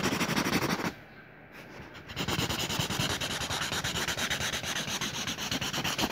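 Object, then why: Felt-tip marker on a lined paper notebook page. A teal felt marker scribbles zigzag rays around a circle on a lined paper notebook page, with quick rubbing strokes across the paper. Bright, scratchy rubbing fills the clip, breaks off into near silence for about a second, then resumes as a steady run of rapid strokes.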